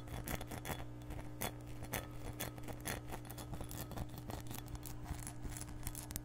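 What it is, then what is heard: Glass measuring cup tapped with nails. Long nails tap and scratch the base and side of an empty, hollow, clear glass measuring cup. The result is a rapid, irregular series of short, bright clicks and brief scrapes with almost no ring, over a steady low hum.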